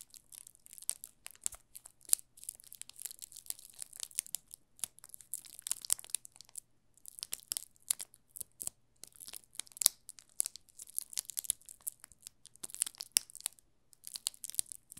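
A yellow solid bar of soap wrapped in thin clear plastic film is held in both hands while fingertips press and slide over the loose film. The result is bright, dry crinkling and crackling in dense bursts with short pauses. A faint steady low hum sits underneath.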